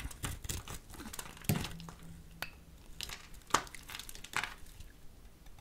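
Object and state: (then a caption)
Soap bar being carved. A small metal blade scores and shaves a solid pink soap bar held in a hand with long purple nails. Irregular dry scraping and crinkly carving strokes repeat, with a few sharper, louder cuts standing out. The shaving noise has a bright edge, and each stroke stops almost at once without ringing.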